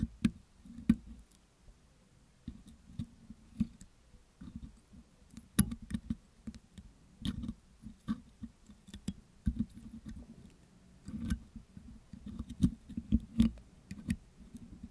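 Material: Metal mesh.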